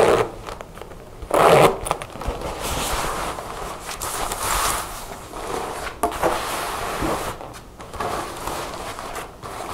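A dark faux leather jacket with a metal zipper and snap-button pockets lies on a table while long nails work the zipper and collar, then both hands tap and scratch across its front. The sound is a busy stream of zipper rasps, dry scratching and soft, irregular taps on the faux leather.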